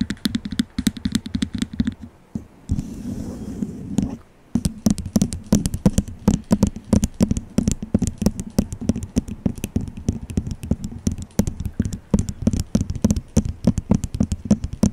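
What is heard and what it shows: Long nails tap rapidly on the base and sides of a small, hollow, empty white disposable plastic cup held over the microphone. Each quick, dry tap has a hollow, boomy thud with a brief click on top and almost no ring. A short, softer scuffing pause interrupts the tapping at about two to four seconds before it resumes.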